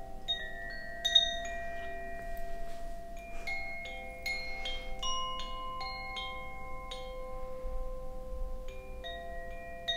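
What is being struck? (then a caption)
Bamboo Koshi wind chime. A hollow bamboo Koshi wind chime, held by its cord and gently shaken, gives off soft overlapping chiming tones that ring on and blend into sustained, bright, bell-like notes. A low background rumble runs underneath the whole clip.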